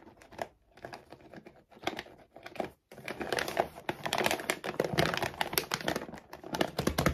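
Long nails and fingertips tap and scratch fast on a full laminated plastic dog food bag lying flat. Dense, crinkly clicks and scrapes come in bursts with short pauses, then run almost continuously and louder after about three seconds. The sound is dry and bright, with no ringing.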